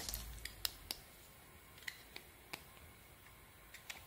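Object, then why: Bar of soap cut with a metal blade. A hand-sized solid bar of soap with a blue and green pearly coating and an embossed logo is held in the hand while a metal blade scrapes and carves off thin shavings, the cut pieces piling up below. About nine quiet, sharp, bright crackling clicks come at irregular intervals over a soft, low background hiss, each dying away almost instantly.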